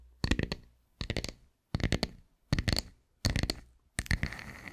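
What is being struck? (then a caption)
Round wooden tree slice. A round, solid wooden tree slice is scratched and tapped with long white nails. Six separate bursts of quick, dry clicking taps with a bright, crisp edge are heard, and the last one trails into a rough, hissy scratch.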